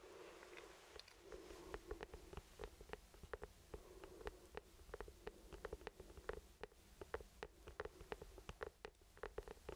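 An orange hollow plastic traffic cone with lettering is held in both hands and tapped with the fingertips. Quick, irregular taps give short, dull, hollow knocks centered around 430 Hz that die away almost at once, over a low, steady background hum.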